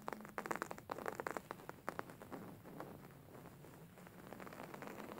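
Hands scratch, squeeze and massage a beige embroidered linen pillow, a stitched fabric cushion. Dense, dry scratching and crackling taps come quickly over the first two seconds, then ease into a softer, steady papery rustle.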